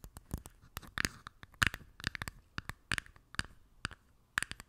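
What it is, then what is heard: Clear plastic cup. A small, empty clear plastic cup with a label on its base rests on top of a microphone and is tapped and scratched with long nails. About 17 sharp, dry clicks and scrapes ring briefly at an irregular pace, with a bright plastic tone around 1.6 kHz and quiet scratchy rustling between them.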